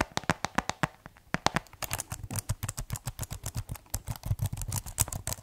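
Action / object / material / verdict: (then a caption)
tap / plastic keyboard / plastic / none. Fingertips type on and tap the keys of a white plastic keyboard case held tilted, producing a rapid run of about 33 short, dry clicks. Each tap has a soft low thump under a bright plastic clack. The clicks die away almost instantly and come in an uneven, quickening rhythm.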